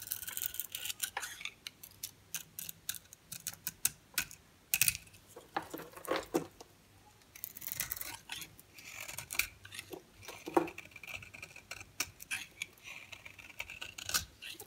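A solid dry soap bar with a yellow center and a black ridged edge, held in the hand, is scraped again and again with a metal utility-knife blade, shaving off soap powder. Many quick, dry, bright scratches follow in bursts, with short quiet gaps between them.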